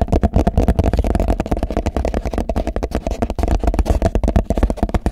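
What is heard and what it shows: Fingertips and nails tap and scratch the walls and base of a medium, clear, translucent plastic food container that is hollow and empty. About 26 quick, dull taps come in a steady run, each one short and thumping with a low hollow resonance and almost no ring.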